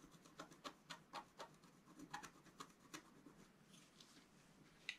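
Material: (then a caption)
Coated paper. A pointed wooden stylus, held in the fingers, scratches the black coating of a thin, flat scratch art sheet from a scratch book lying on a table, revealing the colour underneath. About fifteen quiet, dry, bright scratching strokes come at an uneven pace, each short and crisp with a faint papery rasp between them.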